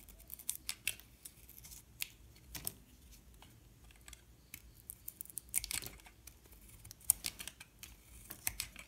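A metal utility knife blade shaves and cuts thin curls off a solid yellow-and-white bar of soap held in the hand. Quiet, bright, crisp scraping and cutting sounds come in a series of short, dry clicks and brief rasping strokes with almost no ring.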